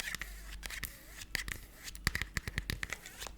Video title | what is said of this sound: ASMR * Tapping & Stories for Sleep * Unique Cell Phone Cases! | it's got this like squeaky scratchiness. It's like a plastic that's got little tiny ridges.